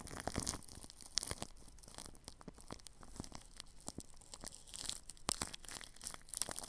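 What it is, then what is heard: Plastic cling film brushed over a microphone. A paintbrush brushes across plastic cling film wrapped over the grille of a ball microphone. The result is a close, crinkly, scratchy rustle of quick, bright strokes with sharp crackles, which swells and fades unevenly throughout.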